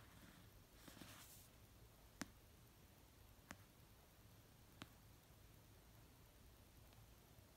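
Slow fingertip and nail taps land on the cover of an orange paperback novel of solid paper resting on a blanket. After a soft brushing rustle near the start, three short, dry, bright taps sound over a quiet, low hiss, each spaced about a second and a half apart and dying away almost at once.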